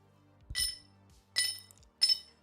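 A solid, hand-poured 18.7 troy ounce silver privy bar is clinked three times. Each clink gives a bright, glassy ring with a high pitch that fades within about a tenth of a second. The clear ring is what a solid silver bar should sound like.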